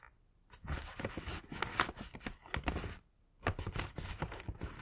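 Fingertips press and run along the folded-over top flap of a thin, hollow, yellow-printed Winnie the Pooh kraft paper gift bag, creasing and rubbing the paper. After a brief near-silence, dense papery crinkling and crackling rustles fill the clip with bright, crisp texture. The crinkling pauses briefly just before the three-second mark, then resumes.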